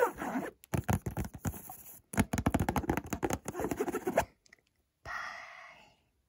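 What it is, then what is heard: Cardboard perfume box, scratched and tapped. Fingers scratch and tap the front of a small, hollow, white Montblanc cardboard perfume box, making rapid, dense bursts of dry scratching and hollow tapping. After a short pause, a softer, steady brushing sound fades out.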